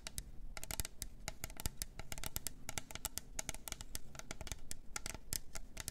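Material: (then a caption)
Plastic. Long nails tap and scratch the body and clear lid of a pink glitter double-walled plastic tumbler. A fast, uneven run of sharp, clicky taps mixes with scratchy rasps over a low background hum, and each tap dies away almost instantly.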